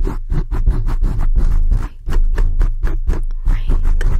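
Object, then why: Foam microphone windscreen. Fingertips rub and scratch a black foam microphone windscreen in fast, aggressive strokes. The result is a deep, booming, muffled scratching that sits almost entirely in the low end, with rapid rough bursts and little high-frequency content.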